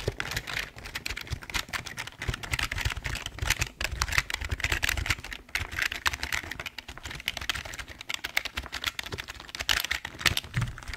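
Fingertips type and tap the keys of a full-size, hollow black plastic Logitech keyboard. The result is a steady, rapid run of dry, bright plastic clicks with a soft low thump under each press and almost no ring after each key.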